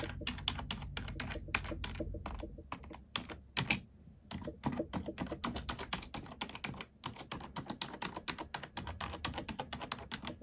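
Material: Plastic.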